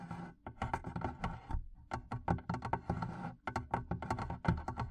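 Long painted nails and fingertips tap the sides of the wooden lid of a medium, hollow, barrel-shaped wooden chest with leather straps and metal studs, its lid open with a microphone inside. A rapid, uneven series of short, dull, woody knocks and clicks sounds with a deep hollow body, each dying away almost instantly.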